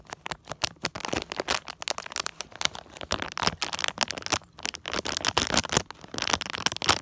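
Fingertips and short nails tap and scratch across the back of a small, flat, printed plastic-foil Disney Tsum Tsum mystery blind bag holding a small figure. The result is a rapid stream of sharp, bright crinkles and clicks with a dry, crackly texture and almost no low end.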